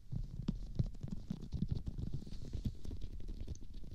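Fingertips of both hands rub and press the forehead and temples of a life-size silicone/rubber practice mannequin face resting on a pink pillow, its surface glossy with lotion. Soft, squishy, low rubbing sounds continue throughout, with frequent brief wet presses and faint bright crackles.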